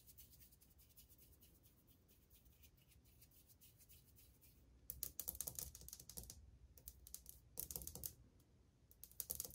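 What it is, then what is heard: Ceramic wall tile tapped with fingernails. Long painted fingernails tap on old glazed white ceramic subway tiles on a wall, a solid surface, with the hand lifting between taps. Faint, light clicking for the first five seconds gives way to louder bursts of quick, bright, dry taps with almost no ring.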